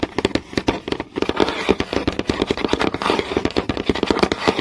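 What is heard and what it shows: Several fingernails tap fast on a flat, solid wooden board with visible grain, making a rapid, uneven run of short, dry clicks. Each tap dies away almost at once, with a woody knock around 400 Hz and a bright crackly edge.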